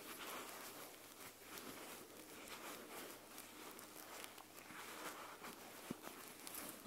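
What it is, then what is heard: Plush fabric eye mask, scratched. Long nails scratch across the white plush fabric back of an eye mask. The result is a quiet, continuous, bright scratching rustle with almost no low end, and a couple of brief sharper ticks near the end.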